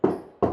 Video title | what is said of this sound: SHAKTI HORMANN STEEL DOORS - OM DOORS - FACTORY OUTLET FLUSH DOORS WITH BEST PRICE | మీరు ఎక్కడ నాక్ చేసినా మీకు వుడ్ ఫీల్ వస్తుంది మనం ప్లే వుడ్ మీద నాక్ చేస్తే ఎలా వస్తుందో అలా వస్తుంది సౌండ్